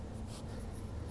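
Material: Nothing is struck.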